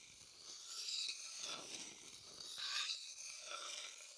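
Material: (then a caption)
Wood. A thin wooden stick scrapes and stirs around the inside of a light, pale, hollow wooden bowl that is empty. The result is a soft, bright, airy scraping with almost no low end, rising and falling in slow, uneven swells.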